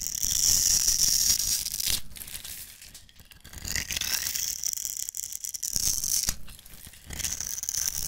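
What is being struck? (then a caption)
Soap bar scraped with a metal blade. A metal utility-knife blade scrapes the surface of a solid, rectangular pink striped bar of soap held in the hand, shaving it into fine crumbs. The result is a bright, crackly, rattling scrape made up of quick repeated strokes, heard in three swelling bursts separated by brief quieter pauses.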